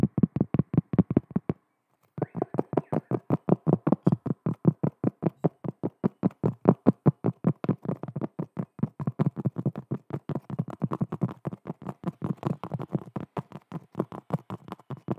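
Long nails from both hands tap and scratch across the surface of a large, flat, round cork trivet. Quick, dull, low-pitched taps come in rapid, uneven bursts, with a brief pause near the two-second mark before the tapping resumes and runs continuously. Each tap dies away almost instantly, with no ring or bright edge.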